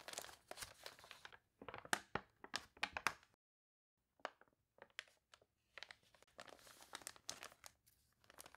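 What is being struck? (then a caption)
Glossy paper catalog pages. Fingertips and nails turn the water-warped glossy pages of an open paper toy catalog, crinkling and crunching the wrinkled paper. Quiet, bright crackles come in bursts of quick rustles, with a full silence in the middle before the page-turning resumes.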